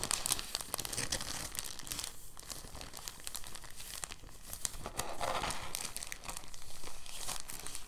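A thin, translucent, empty soft plastic bag is folded and unfolded by fingertips, crinkling the sheet. The result is a continuous, soft, uneven stream of bright crackles and rustles with no clear pauses, swelling slightly louder in the second half.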